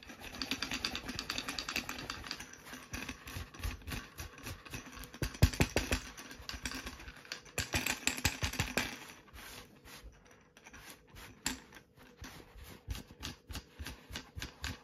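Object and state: Fabric paint roller cover.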